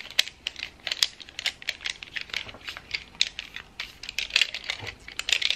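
A handful of loose wooden colored pencils with a painted finish is held in both hands over a wooden tray, with the pencil box set aside in the tray, as fingertips and nails shuffle and jostle them. The pencils clack against each other in a rapid, irregular run of dry, bright clicks with almost no low end and no ring.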